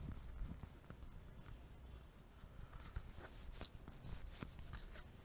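A small, solid, soft blue foam stress ball with a white logo is held in one hand close to the microphone and tapped and scratched with fingertips and nails. Quiet, dull taps blend with bright, crackly scratching over a low, muffled rumble, with a few sharper ticks standing out.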